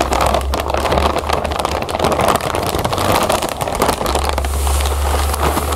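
Long nails scratch and squeeze a full, clear plastic bag of cereal puffs while fingers handle its zip edge. The result is a steady run of dense, close crackling and crinkling, strongest in the mids with bright edges, over a faint low hum.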